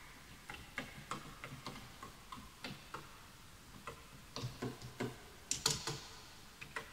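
Fingertips type on the letter keys and the right-side keys of a full-size bamboo wood computer keyboard with wooden keys, while the mouse is left untouched. The result is a quiet, uneven run of short, dry taps: each has a bright clicky top and a soft low knock, and each dies away almost at once. There is a brief pause midway before the typing picks up again.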